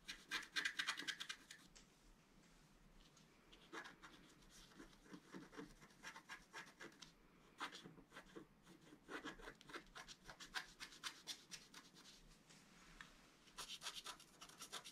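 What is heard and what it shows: A wooden stylus scratches a flat, black-coated scratch-art card in quick, irregular strokes, making dry, bright, rasping scrapes. The scratching is loudest at the start, softens into a quieter stretch, then returns in dense bursts as the stroke moves to the top edge of the sheet by the end.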